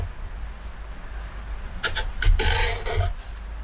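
A metal hook or spoon gouge carves and scrapes the hollow, dished interior of a large carved wooden plate held in a workbench, its inside full of pale wood shavings. After a quiet stretch with a low background rumble, repeated rasping strokes come in short, uneven bursts, the loudest in the middle of the clip.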